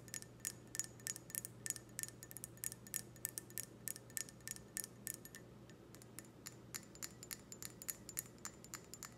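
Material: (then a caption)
Glass. An empty clear stemmed wine glass, held sideways, is tapped on its bowl and stem with long red nails. It makes a quick, irregular run of bright, glassy clicks and tiny high pings that die away almost instantly, over a steady low hum.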